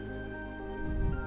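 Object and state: Nothing is struck.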